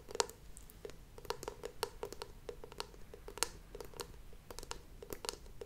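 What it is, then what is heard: Wooden candle lid, solid. Long painted nails tap and scratch on the solid oval wooden lid of a WoodWick candle held close to the mic, making a quick series of dry, clicky taps with a woody tone around 450 Hz, bright edges and almost no ring. Soft scratching fills the gaps between taps, and at the end the lid rests on the candle's glass jar.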